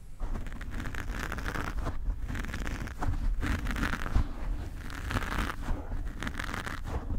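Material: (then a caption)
Foam. A black foam microphone windscreen is gripped and scratched with the long nails of both hands. This makes a steady, dense scratching and rubbing that is dominated by a deep, muffled rumble. Swelling raspy bursts rise and fall throughout.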